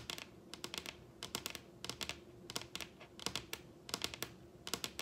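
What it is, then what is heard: Wooden tabletop tapped with nails. Long red acrylic nail tips tap a large solid wooden dining tabletop with both hands, producing quick bursts of sharp, bright clicks. Each tap dies away almost instantly over a faint, steady low hum.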